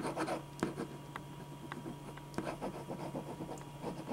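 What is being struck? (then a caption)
Pen on a sheet of drawing paper. A black pen scratches short sketch strokes across a single thin white sheet of drawing paper lying flat on a dark board. Soft, dry scratching and rubbing strokes come in quick bursts over a steady low hum, with a couple of sharper ticks standing out.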